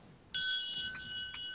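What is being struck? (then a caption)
Aluminum tuning-fork motor mount. An aluminum "tuning fork" motor mount, made for a Cardinal model plane, is struck once. It gives a sudden bright, bell-like ring whose high tones hold steady for the rest of the clip. It is a long, resonant tone with no fading during the clip.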